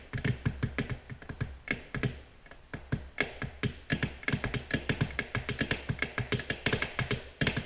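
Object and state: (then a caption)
Glass tabletop tapped with fingernails. Long natural nails tap gently on a flat, solid, glossy black glass tabletop. Quick, dry clicks with a bright edge and a soft low knock come in an uneven, rapid rhythm over a steady low hum. Each tap dies away almost instantly.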